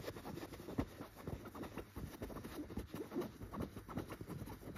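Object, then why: Tufted chenille fabric pillow. A yellow tufted chenille pillow is scratched first with a gold claw nail cover, then with long red-painted fingernails. The result is a quiet, steady, muffled scratching and rustling, mostly low and soft with little brightness, made of rapid short strokes that blend together.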